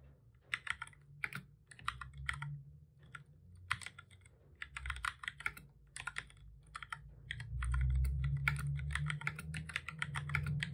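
Both hands type steadily with the fingertips on a full-size black plastic keyboard with a hollow body, resting on a desk. Short, dry key taps come in quick, uneven bursts with bright clicky tops. A low steady hum sits underneath and grows louder partway through.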